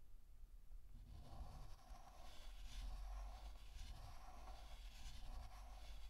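A pink chalk stick held in fingertips draws outline strokes on a flat, solid black chalkboard. Continuous scratchy strokes rise and fall over a low, steady rumble, with brighter rasping bursts as the chalk drags across the surface.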